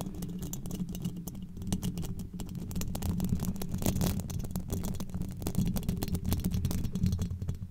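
Very long pointed black nails scratch and tap rapidly across a hollow, domed steel mesh microphone grille. The result is a dense stream of crisp, bright clicks and scritches over a boomy, low, resonant rumble that swells and fades as the pressure changes.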